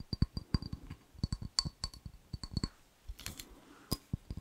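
A small, clear, empty ribbed glass jar is turned in the hands and tapped with fingernails on its side and base. The result is a quick, uneven run of sharp little clicks with a low hollow knock under each and a faint bright glassy tick that dies away almost at once. Midway there is a brief softer bright rustle as the jar is handled.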